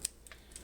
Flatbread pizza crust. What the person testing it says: cooked crispy you can even hear it